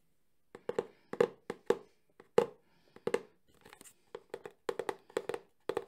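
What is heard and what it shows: A Sony camcorder cardboard box, held in one hand, is tapped quickly with fingertips and nails on its top and side faces. The result is a rapid, uneven series of short, hollow taps with a mid-pitched body and a bright click on each, each dying away almost at once.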